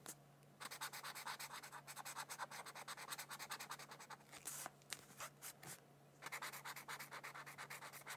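A felt-tip marker scratches and rubs across a thin white paper mandala coloring sheet lying on a book. Quick, bright, scratchy back-and-forth strokes come in steady bursts, with a few sparser strokes in the middle before the rapid rhythm resumes. A faint low hum runs underneath throughout.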